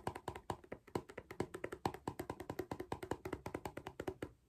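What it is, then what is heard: Plastic lid of a cardboard crisp tube. Fingertips and nails tap the top of the clear plastic lid on a small cardboard Pringles crisp tube. A quick, uneven run of about 37 dry, hollow taps follows, each ending almost at once with a pitch near 340 Hz.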